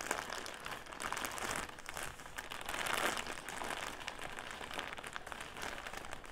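A clear plastic drawstring bag filled with round cotton pads stands upright on a table while fingertips and nails squeeze and crinkle it. The result is a continuous stream of dense, bright crackling and rustling with brief swells of louder crinkling, and no talking.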